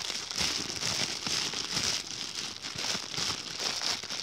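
An empty, thin white plastic bag is crumpled and rubbed between fingers up close. It makes a steady, dense crinkle that swells and eases in waves, almost all of it bright and high with very little low end.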